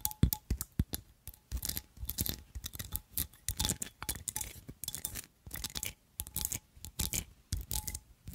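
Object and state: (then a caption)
Ornate metal and glass perfume bottle. Long nails tap and scratch the gold metal filigree overlay and glass of a perfume oil bottle with red jewels and a gold stopper. Quick, bright clicking taps alternate with scratchy scraping throughout, and a faint, brief ringing tone sounds under some of the taps.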